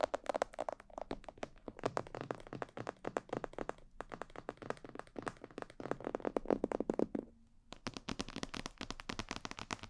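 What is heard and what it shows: Long nails and fingertips tap quickly across the sides, ears and back of a hollow, glossy black plastic mannequin head microphone. The result is a dense run of short, dry clicks and hollow taps with a low-mid body, broken by brief pauses around four seconds and again near seven and a half. The final stretch turns sharper and brighter.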